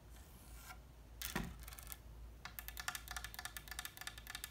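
Long red nails scratch and tap on the ornate gilded wooden frame of a small oil painting with a linen liner, hanging on the wall. A soft, hissy scrape opens the clip, then comes a sharper knock, and it ends with a quick run of bright, crisp clicking taps on the frame.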